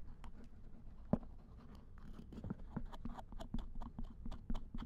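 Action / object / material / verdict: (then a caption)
scrape / silicone ear of a binaural dummy head microphone / silicone / none. A binaural dummy head microphone lies in a lap while its silicone ear is scraped with a thin wooden or bamboo ear pick and touched with fingertips. Close, quiet scratchy scrapes and soft dry taps come in a loose rhythm, mostly dull and low with brief bright crackles, and one sharper thump stands out early on.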